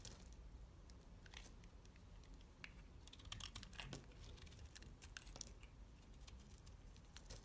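A utility knife blade scrapes and flakes the surface of a solid dark purple soap bar held in fingers. Quiet, rapid, bright crackling scratches and flicks come in dense clusters over a steady low rumble, with a few sharper snaps near the middle.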